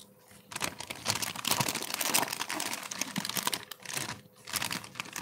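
A large, thin, translucent empty plastic bag is held up and crumpled by black-gloved hands. The result is a continuous bright crinkling with rapid crackles and brief quieter pauses near the start and around four seconds in.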